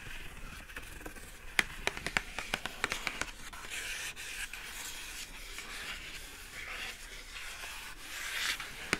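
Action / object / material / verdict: scrape / rigid cardboard gift box / cardboard / none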